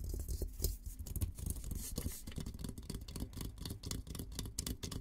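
Fingertips and nails scratch and tap the top of an olive-green painted steel military helmet, a hollow dome, held close to the camera. A rapid stream of short, dry taps and bright scratchy strokes rides over a low, hollow rumble from the dome.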